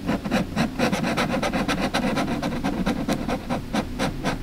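A lilac felt-tip marker is scratched and rubbed in short coloring strokes across a printed mandala page of an open paperback coloring book lying flat on a table, while the other hand holds the page down and a lapel mic rests on the page. The result is a steady series of quick, dry scratching strokes at about two per second, with a low papery body and a light bright hiss.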